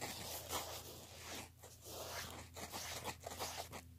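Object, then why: Woven fabric clutch handbag. Fingernails scratch and rub across the face and fold of a black woven-fabric clutch handbag held in both hands. The result is a continuous, bright, dry rasping with uneven swells and brief dips, over a faint steady low hum.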